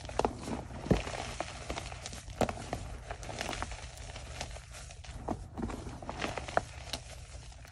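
Bare hands squeeze and rub soft, powdery chunks of white gym chalk blocks (magnesium carbonate), crumbling them into fine dust inside a red plastic bucket. Dry crackles and short, sharp crunches come in quick irregular bursts over a soft rustling bed with a low rumble, each crunch dying away almost at once.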